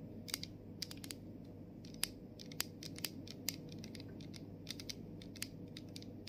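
Long acrylic nails tap and scratch the printed label on the body of a plastic body mist bottle. Sharp, bright clicks and ticks come in irregular bursts, each dying away instantly. Underneath runs a soft, steady low rustle.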